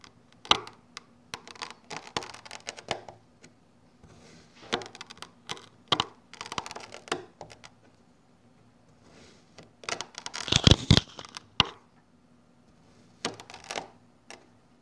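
A long thin red blade cuts repeatedly through a flat slab of orange kinetic sand resting on a yellow surface. Each stroke gives a short burst of crisp, crackly, grainy clicks, with quiet gaps between strokes over a faint steady low hum. The loudest, brightest crunching comes near the end.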